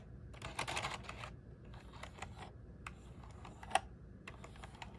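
A small black plastic one-handed gaming keyboard with RGB backlight, resting on a desk mat, has its keys pressed and tapped with fingertips. The typing comes as quick, dry clicks in loose bursts, with one sharper, louder click near the end, over a steady low hum.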